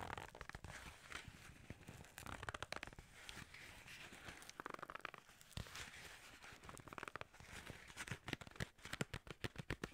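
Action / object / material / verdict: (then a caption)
tap / paperboard box / paperboard / none. Fingertips and nails grip, tap and scratch a long, narrow, hollow white paperboard skincare box with a yellow label, likely holding a bottle. Quiet, dense crinkly scratching mixes with many short, dry, clicky taps that bunch into quicker bursts toward the end.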